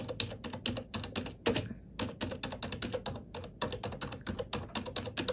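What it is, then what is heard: Plastic computer keyboard being typed on. A black plastic computer keyboard is typed on with fingertips and long nails. It gives a rapid, steady run of crisp, bright clicking keystrokes with short pauses, plus one louder, slightly ringing tap partway through.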